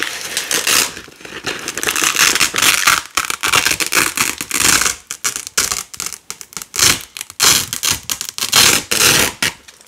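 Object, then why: Nylon hook-and-loop strips on a loop panel. Fingers with long nails pull red and white nylon hook-and-loop (velcro) strips away from a black loop panel, making bright, crackling ripping sounds. Long continuous tears give way to a run of short, separate rips with brief silences between them, and there is almost no low end.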